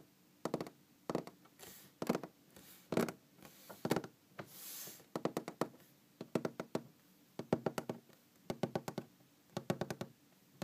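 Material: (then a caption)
Wood. Long green-painted fingernails of both hands tap and scratch across a large solid wooden tabletop. Quick bursts of sharp, dry knocks with a low-mid body die away almost instantly, and they alternate with softer, hissy scratching swells between the tapping runs.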